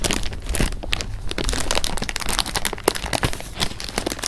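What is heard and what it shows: An open, clear plastic bag of jelly beans is held in the hands while fingers crinkle the bag and move the beans around inside. The result is a continuous, close crinkling texture dense with small, sharp crackles and soft shifting of the beans, bright in the upper range over a steady low rumble, with no lingering ring.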